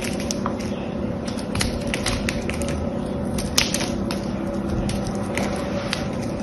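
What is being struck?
Bar of soap cut with a small knife.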